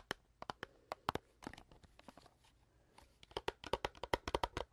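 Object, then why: Small cardboard candy box. A small rectangular printed cardboard box of Pink Cadillacs candy, hollow and apparently filled with candy, is held in one hand and tapped and scratched with long dark-painted nails while being turned. Quick, dry taps with bright edges come in clusters, and softer scratchy rustling fills the gaps.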